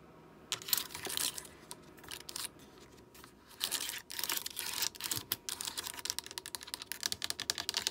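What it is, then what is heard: Plastic computer keyboard. A full-size black plastic gaming keyboard with RGB backlight and hollow keys is tapped and pressed with long acrylic nails and fingertips. Quick, dry, bright clicks and clatters come in bursts and irregular runs with almost no ring or low end. The tapping grows denser and faster toward the end.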